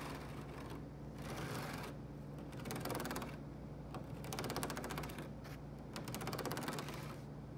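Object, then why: Woven rattan cane chair back. Fingernails tap and scratch the thin, flexible strands of open-weave rattan cane webbing set in a carved, light-colored chair back. The result is bursts of quick, dry clicking and scratchy rattling that come and go over a steady low hum.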